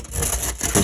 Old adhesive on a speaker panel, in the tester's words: you can hear how crispy and crunchy this is